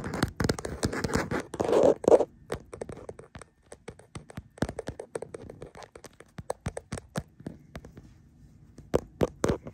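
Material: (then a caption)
Plastic. Fingertips and nails scratch the back of a printed plastic case on a smartphone held in a black mount. Dense, dry scraping at the start gives way to a rapid, irregular run of sharp clicks and taps. Each one dies away almost instantly, close and mid-pitched, with a few louder taps near the end.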